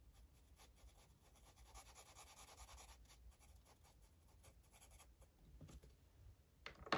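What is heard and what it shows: A blue felt-tip marker rubs steadily over a page of an open paper coloring book lying flat on a table while coloring. Quiet, soft scratchy strokes rise and fall in a continuous bright hiss, swelling slightly in the middle. The clip ends with a brief, sharper burst that is the loudest moment.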